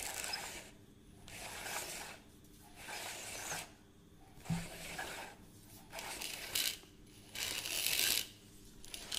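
Fingertips and nails tap and scratch the case and rim of a beige hollow plastic reel measuring tape with a black crank, held up close. Bursts of bright, hissy scratching alternate with quieter gaps, mixed with crank and mechanism clicks and a few sharper taps.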